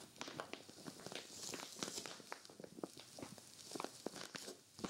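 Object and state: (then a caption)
Vinyl storage bag being scratched. A hand with long nails grips and scratches the crinkly surface of a clear vinyl zippered storage bag with white zipper trim, stuffed full with a grey knit sweater. Quiet, bright crinkling and scratching rustle along with many short, sharp ticks and crackles.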